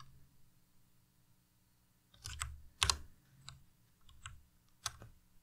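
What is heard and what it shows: A white Ducky Miya Pro tenkeyless mechanical keyboard with plastic keycaps is pressed slowly with the fingertips on the arrow and other keys. Sharp, bright clicks with a low thud beneath each come after a near-silent start, each dying away almost at once.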